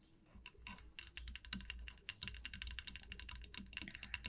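Long nails tap and scratch the body and teeth of a small solid wooden comb resting on a felt mat. A rapid, uneven run of sharp, bright clicks is heard, with scratchy texture between them. Each click is dry and dies away instantly, with no ring.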